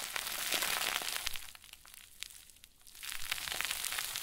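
A round white plastic bag stuffed into a crinkle ball is squeezed and crumpled by both hands, giving dense, bright crackling crinkles. The crinkling thins to a quieter stretch of scattered crackles in the middle, then swells back to full, steady crumpling.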